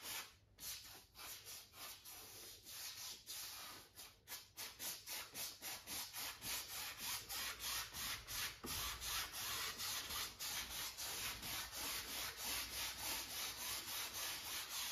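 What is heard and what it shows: A wide flat paint brush held in the hand rubs and sweeps across a medium-sized stretched cotton canvas, taut fabric over a hollow wooden frame, set on an easel, in long back-and-forth strokes. Bright, scratchy swishes start out uneven and quieter, then settle into a fast, steady rhythm of dry brushing strokes.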